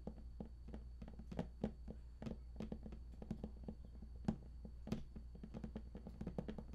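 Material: Cardboard.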